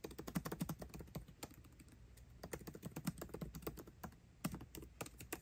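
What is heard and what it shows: Fingertips type fast on a MacBook Pro keyboard with plastic keycaps set in an aluminum body. The result is a rapid stream of short, dry, low-pitched clicks in bursts, with a brief quieter lull near the middle before the typing picks up again.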